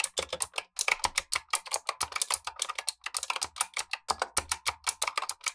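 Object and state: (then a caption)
Mechanical keyboard with clicky switches. Blue nitrile-gloved fingertips type continuously on a black tenkeyless Razer Huntsman V2 mechanical keyboard with clicky switches and plastic keycaps, while a second keyboard sits idle above it. A steady run of rapid, bright clicky keystrokes is heard, each short and sharp with almost no low end and a quick decay.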